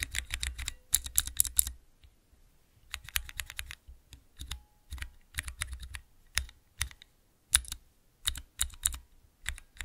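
Fingertips press the Cherry MX mechanical switches on a small clear plastic 3x3 key switch tester, making rapid, bright, sharp clicks and clacks with a low thock under each press. The presses come in quick bursts, with a short pause about two seconds in before the tapping resumes.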